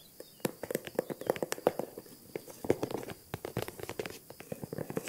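Long nails tap and scratch the handle and body of a small green faux-croc, crocodile-embossed leather handbag. The result is a quick run of dry, clicky taps with short scratchy strokes, each one sharp and dying away almost at once.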